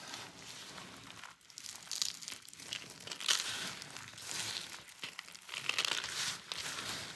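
A pile of small, brittle chips and crumbs of dry, colorfully painted soap on a textured mat is pressed, crushed and rubbed between fingers and palm. The result is a steady, bright crunchy crumbling and crinkling that swells in louder bursts, with almost no low end.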